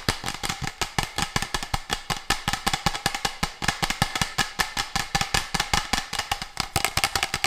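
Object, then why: Textured plastic water bottle. A textured, orange-red translucent plastic water bottle of medium size, with a red cap, hollow and apparently empty, is held upright in both hands and tapped and scratched on its patterned surface with fingertips and nails. The result is a fast, irregular stream of short, dry, bright clicks with brief scratchy textures between them, each hit dying away almost at once.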